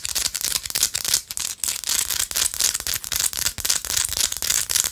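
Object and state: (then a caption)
Himalayan salt rock scratched with nails. A small, solid, pinkish-orange Himalayan salt rock held between fingers is aggressively scratched with long light-blue acrylic nails. The result is a dense, bright, gritty scratching made of rapid, irregular bursts with almost no low end.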